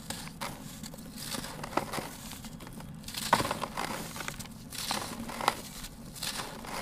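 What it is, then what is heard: Dry sand-cement crumbling. Fingers squeeze and crumble a broken-off piece of a large, solid, dry, grey sand-cement chunk in a turquoise basin. Soft gritty crunching and crackling run throughout, punctuated by occasional sharp, bright snaps. The piece falls apart into gritty powder.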